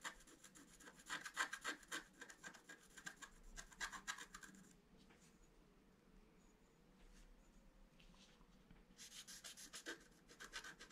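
A wooden stylus scratches the black coating of a flat scratch-art card lying on a table, working near the deer head. Quick, bright rasping strokes come in a dense burst for about five seconds, then fade to a quiet hush with a few faint scrapes before fast scratching resumes near the end.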